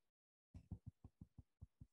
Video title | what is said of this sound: Spinning Yarns Speaker Series: Catherine Knutsson of the Small Bird Workshop | so that whooping sound is called a ping test and that is a sign that this is a very very strong fiber